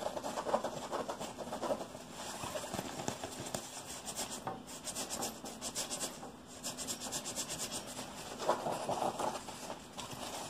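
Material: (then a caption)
Nylon mesh. A neon-yellow nylon mesh pocket of a vest is held up and scratched and rubbed with fingertips and nails. The result is a continuous dry, papery scratching and rasping, with bright high crackle over a mid-range rustle and a few sharper scrapes standing out.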